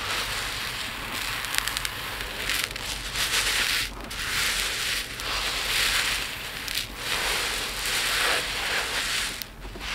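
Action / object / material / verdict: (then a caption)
shake / small resin beads in a plate / resin / none. Both hands scoop handfuls of tiny multicolored resin diamond art drills from a pile in a dark plate, dig in and let the beads trickle back down. The result is a continuous, bright, hissing rattle of countless small beads with gentle swells in loudness and almost no low end.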